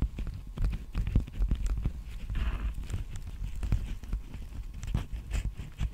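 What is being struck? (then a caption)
Plastic bubble mailer envelope. Fingertips and nails tap and scratch the textured bubble surface of a large, hollow, apparently empty black poly bubble mailer envelope held upright at the microphone. The result is a rapid, uneven stream of soft, dull, low thumps with very short decay, broken by a brief scratchy rustle midway through.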